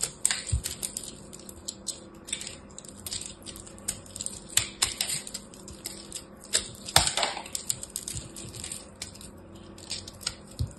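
A solid ball of pressed teal and orange soap chips, held in the hand, is scraped and cut with a small black blade until it crumbles. Dense, bright, crisp crackles and scratchy ticks come in quick bursts, with a louder crunch near the middle. A faint low steady hum runs underneath.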